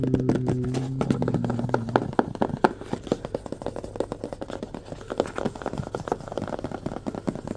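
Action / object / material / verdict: tap / small cardboard box / cardboard / none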